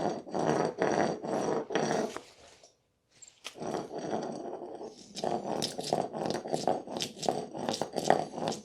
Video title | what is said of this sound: How To Patch Old Concrete | just drawn over the surface listening for the hollow spot. It will sound obviously hollow.